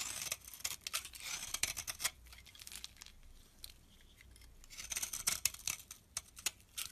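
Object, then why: Bar of soap scraped by a metal blade. A solid brown soap bar held in the hand is scraped with a metal blade, producing crumbly flakes. Quiet, bright scraping and crackling come in uneven bursts of short strokes, with a calmer stretch in the middle.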